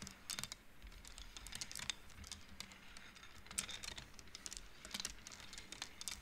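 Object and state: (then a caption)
Wooden bead abacus. An upright wooden-frame abacus with painted wooden beads is played with both hands, the beads slid along the rods so they knock together. A quick, irregular run of short, bright, dry clicks sounds at low volume, each dying away almost at once, over a faint steady low hum.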